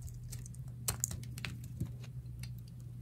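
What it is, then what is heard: Dry bar of soap. A metal utility knife blade scrapes and carves a solid, dry pink bar of soap held in the palm, making quick, dry, bright scratching clicks that stop instantly. The cuts come irregularly over a steady low hum, with a few sharper snaps standing out.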